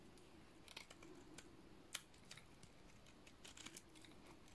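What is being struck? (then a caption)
Soap bar shaved with a blade. A solid cream-colored dry soap bar is shaved flat with a utility-knife blade. Soft, dry scraping strokes come as short, crisp, bright crackles and clicks that die away almost at once, over a quiet, steady low hum.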